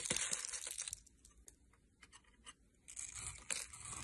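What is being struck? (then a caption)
Bar of soap cut with a knife. A metal knife blade shaves and cuts a solid, rounded-rectangle green soap bar held in the fingers, scraping off crumbly bits. Bright, dry crackling and tearing scrapes are dense at the start, thin to scattered crisp clicks in the middle, then return as steady rasping toward the end.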